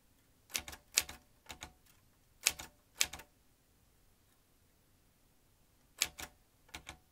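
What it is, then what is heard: Metal manual typewriter. Fingertips tap the keys of a vintage manual typewriter with metal typebars, producing 14 sharp, bright clacks that fall mostly in quick pairs. The strokes come in a burst over the first three seconds, then pause for nearly three seconds before four more finish the clip. Each strike dies away almost instantly against a quiet background.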